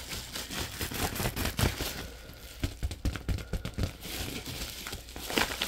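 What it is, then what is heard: Plastic bubble mailer envelope. An empty orange padded plastic bubble mailer envelope is bent and shaken by fingers, crinkling the plastic. Irregular crackly rustles and sharp crinkles come in uneven bursts over a steady low rumble, with bright hiss through the top.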